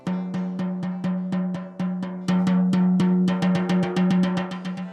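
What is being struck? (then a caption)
FEP film stretched in a resin printer vat. Light, rapid fingertip taps on the center of a tensioned FEP film in a resin 3D printer vat produce a drum-like, hollow thump with a low, ringing tone. The taps come about four per second, with a steady pitched ring sustaining between them, and grow louder partway through.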